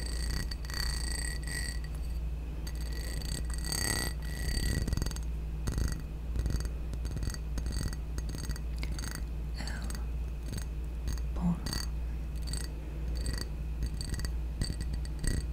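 A small, hollow, empty blue glazed ceramic ramekin with ridged sides is tapped and scratched along its ridges with long nails. Quick, dry clicks and raspy scratches with almost no ring sit over a steady low hum. Bright tonal streaks come and go throughout.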